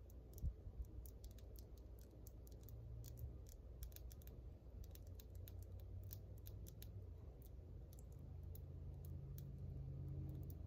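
Long white almond-shaped acrylic press-on nails, small hard hollow plastic shells, are tapped tip against tip with both hands in fast, uneven bursts. Each tap is a short, bright click that dies away almost at once. A steady low hum sits underneath throughout.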